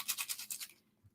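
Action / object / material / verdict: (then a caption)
shake / plastic egg containing soybeans / plastic / none. A pink plastic egg filled with a couple tablespoons of soybeans is shaken, giving about seven quick, bright rattling bursts as the beans knock around inside. The beans are there so that, if the egg breaks when dropped, they roll everywhere. The rattling then stops, leaving near silence.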